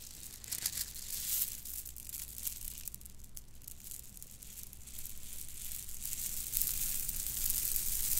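A bundle of purple plastic bead necklaces is scrunched in the hands, shaken and dangled. Dense, bright clicking and rattling of the beads rises and falls over a steady low hum, growing busier toward the end.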